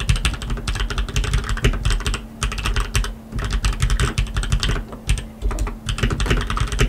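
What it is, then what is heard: Mechanical keyboard with plastic keycaps. Two hands type continuously with their fingertips on a black tenkeyless RGB mechanical keyboard with lubed linear switches and plastic keycaps. The result is a dense, rapid stream of short, deep, muted clacks, with brief pauses around the middle and a faint steady low hum underneath.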